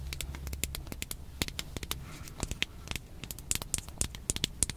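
Long painted nails scratch and tap along the ridges of a small, hollow, hand-sized pink hard plastic toy box with a Shopkins-style face, held in the fingers. A quick, uneven run of sharp, bright clicks and scratchy taps is heard, with a low hum underneath during the first couple of seconds.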